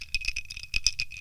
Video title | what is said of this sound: Milk Bucket Podcast Episode 72: Breaking into PwC | that's the sound of a gnt sloshing about